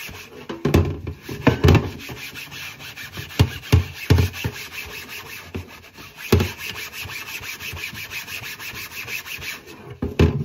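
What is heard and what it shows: Gloved hands scrub a thin, flat, solid white plastic cutting board, wet with soapy water and held upright over a sink, with a yellow sponge. Steady wet rubbing strokes carry a low, thumping body, broken by several louder scraping bursts as the sponge drags across the board.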